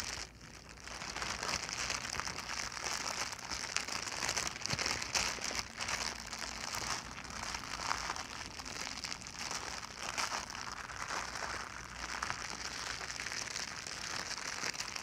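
A small, crumpled, clear plastic film bag is held in both hands and crinkled and squeezed with the fingertips and long nails. After a quiet first second, a dense, bright, crackling crinkle runs steadily for the rest of the clip with brief sharper snaps. There is very little low end.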